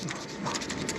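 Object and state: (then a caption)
Pipette controller valve rattles freely (not stuck). A fully reassembled pipette controller is shaken, and its valve gives a quick, steady, bright rattle over a low hum. The rattle shows the valve is open and moving freely, as it should.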